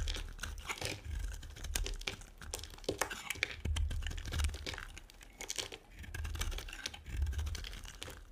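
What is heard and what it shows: A metal blade carves and scrapes chunks and flakes off a solid, dry, two-tone pink and white bar of soap held in the hand. The result is a steady run of crisp, crumbly scraping and crunching, with dense bright crackles over a soft low rumble and no ring after each cut.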